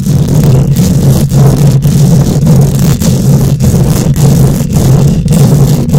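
Long nails scratch and tap on a bare metal mesh microphone grille, producing a loud, continuous low rumbling scrape centered around 130 Hz. The sound is interrupted by brief, regular dropouts roughly every half second.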